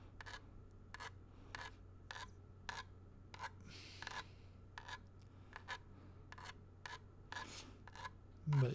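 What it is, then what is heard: Plastic game cartridge, scraped. A thin pointed tool rasps and scratches in short, repeated strokes over the ridged surface of a small, hollow, grey plastic video game cartridge with a paper label, held close to the mic. Each stroke is a bright, dry scrape, with a couple of longer drawn-out rubs in between. A steady low hum runs underneath, and a louder bump comes at the very end.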